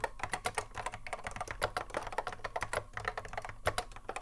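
Continuous touch typing with the fingertips of both hands on a cream Apple M0110A keyboard, a hollow plastic case with Alps SKCC mechanical switches, resting on a wooden desk. A rapid, uneven stream of short clacks, each dying away almost at once, with a midrange body around 600 Hz and a bright top edge.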